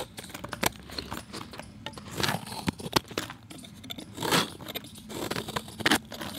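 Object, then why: Chalk block. A steel utility knife blade shaves and scrapes the edge of a solid, palm-sized round disc of pale grey-white chalk held in one hand, with the flakes falling into a bowl of chalk debris. Dry, bright, crisp scraping is heard as a rapid series of sharp clicks and crackles, with longer rasping strokes swelling around the two-, four- and six-second marks.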